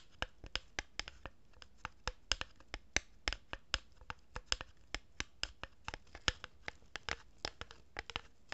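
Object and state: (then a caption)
Cardboard tube. A hollow cardboard tube is held horizontally in both hands while fingers with long nails rub and scratch its surface. About 35 short, dry, bright scratching ticks are heard in quick, uneven succession, each dying away almost instantly against a quiet background.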